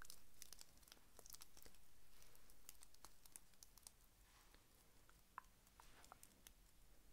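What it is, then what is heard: Plastic sequin Christmas bauble. A small round Christmas ornament covered in iridescent white plastic sequins and beads, likely over a solid foam core, is held in the hand and scratched and rubbed with fingertips and short painted nails. Quiet, crinkly scratching comes as a rapid, loosely regular run of short, bright ticks and clicks over a low steady hum.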